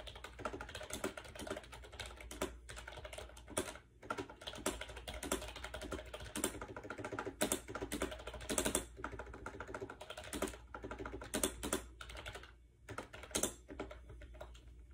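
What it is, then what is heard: Plastic keyboard typing. Rapid fingertip typing on a compact gray plastic AJAZZ 308i Bluetooth keyboard with round keycaps and a hollow shell, resting on a bed. Quick, light clicky taps run continuously with brief pauses, a hollow plastic tone, and a steady low hum underneath.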